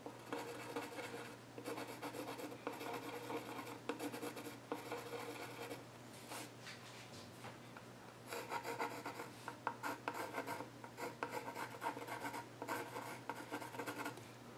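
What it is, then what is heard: Pencil scratching on a wooden stool top. A hand scratches sketch lines with a wooden pencil across the flat top of a solid, reddish-brown, grainy wooden child's stool. Dry, raspy strokes come in bursts, with a quieter stretch in the middle, over a faint steady low hum.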